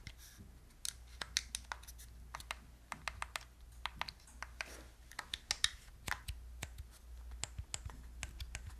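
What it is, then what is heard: Plastic game controller, clicked and tapped. Long nails tap and click on the buttons and casing of a gold, hollow, handheld plastic Wii remote with a wrist strap. The result is a scattered run of sharp, bright, very short clicks over a steady low hum.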